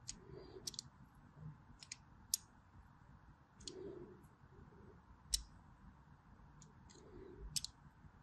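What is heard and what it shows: A blade cuts crossing lines into a solid white bar of soap with diagonal grooves. The quiet clip is a series of sharp, bright clicks and crisp scratches spaced irregularly over a soft, low rustling background, with a few brief muffled swishes between them.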